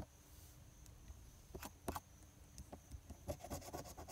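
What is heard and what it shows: A hand rubs the edge of a coin across the latex scratch coating of a thin paper lottery scratch-off ticket, number 030, to reveal the numbers. Quiet, dry scraping strokes come in short bursts with bright rasping edges over a soft low rumble.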